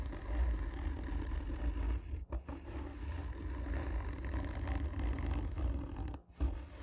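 Long nails scratch the textured surface of a hollow black cardboard gift tube, making a steady, low, rumbling scrape with a dense bassy texture. The scratching breaks off briefly twice, around 2.3 and 6.2 seconds, before resuming.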